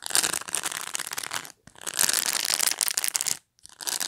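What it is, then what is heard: Plastic pet brush bristles. Long pointed nails flick along the bristle tips on the top edge of a black plastic pet brush held in the hand. The result is a bright, dense crackling patter with almost no low end, coming in three bursts separated by brief silences.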